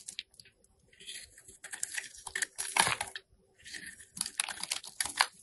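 A solid oval white soap bar with a printed label, held in hand, is shaved into curls with a metal box cutter blade. Dry, crisp scraping and crinkly peeling sounds come in short, bright bursts, separated by brief pauses.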